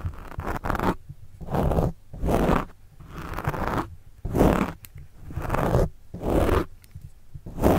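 A plastic pen tip scratches and writes on a black foam windscreen covering a microphone. It makes repeated rough, rustling strokes with a muffled low rumble. The strokes come in bursts about a second long, separated by short quiet gaps.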